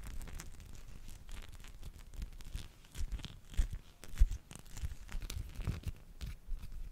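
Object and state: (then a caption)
Rubber spiky massage ball. A small teal spiky rubber massage ball, likely hollow, is rubbed against the microphone and scratched with fingertips. It makes dense, irregular scratchy rustling and crinkling with soft, low, dull bumps. Brief louder scrapes rise out of the steady texture.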